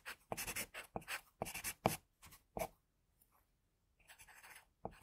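A graphite pencil in a metal holder scratches short strokes on the headband of a drawing on a flat sheet of drawing paper resting on a board. The quiet, bright scratching comes in brisk, irregular bursts, pauses briefly near the middle, then resumes.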